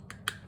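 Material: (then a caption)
Metal. A small butter knife taps the top of a metal jet cartridge just reinstalled in the carburetor of a self-propelled Murray lawn mower. Two short, bright metallic ticks are heard, the second louder, each dying out almost at once. The tapping reveals the cartridge is still loose and not yet fully seated.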